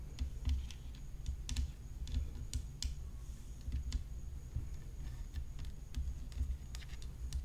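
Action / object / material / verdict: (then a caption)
tap / graphite tennis racket frame / graphite / none. Long nails tap along the rim of a hollow graphite tennis racket frame set with rhinestones, giving quick, sharp clicks with bright edges over a low, dull thud. Near the end, the hand moves quickly across the frame.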